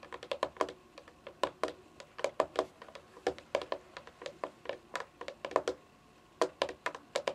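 Long fingernails drum on the top edge of a hollow, console-sized white plastic game console casing lying on carpet. Quick bursts of light, clicky taps carry a hollow plastic midrange tone with bright edges. The taps come in uneven runs and briefly stop for about half a second before resuming.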